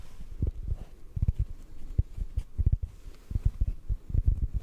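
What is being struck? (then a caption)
Foam sponge. A yellow sponge is held in one hand and tapped with the fingertips of the other hand. The result is a quick, irregular run of soft, dull, low thuds with almost nothing bright in them, each dying away almost at once.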